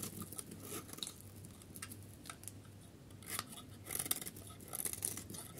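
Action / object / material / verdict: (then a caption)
scrape / bar of soap shaved with a blade / soap / none. A solid, pale yellow dry soap bar held in the hand has its edge shaved into long curls with a metal utility blade. Soft, dry scraping strokes come with bright crackling and crisp snaps over a faint low hum, and the louder strokes bunch near the end.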